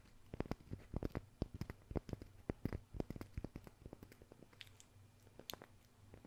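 Fingers tap on a wooden surface as an ASMR trigger, recorded through a Maono DM30 RGB gaming microphone. A quick, irregular run of dull, low, knocking taps with no ring dies out almost instantly, over a faint low hum. Toward the end the taps grow softer and sparser.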